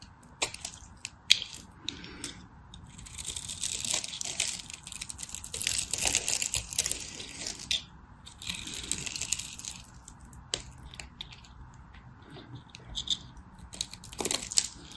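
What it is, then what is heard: Dry bar soap being cut. A craft knife scrapes and cuts a solid, dry, purple and white striped bar of soap held in the hand. Bright, crisp scraping and crunching comes in longer sustained passes, broken by sharp little clicks and ticks as the blade bites. Quiet gaps fall between strokes.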